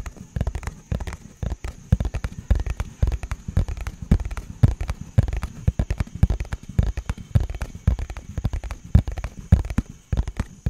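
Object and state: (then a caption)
Cardboard box tapped. A small, hollow, purple printed cardboard product box is held in front of the mic and tapped rapidly with fingertips and nails. Dense, irregular, dull thuds are low and boomy, each dying away almost at once, with faint crisp ticks above and a steady high hiss throughout.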